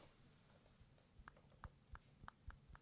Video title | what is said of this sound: Samsung galaxy A80: 2 Week Review (2019) | tap it at the top, you can hear it